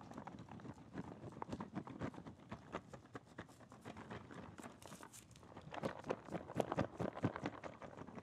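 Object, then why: Shrink-wrapped cardboard box. A shrink-wrapped cardboard Super Metroid puzzle box is turned in the hands and tapped with the fingertips. The result is a quick, irregular run of soft, dry taps with a plasticky crinkle. The taps grow denser and slightly louder toward the end.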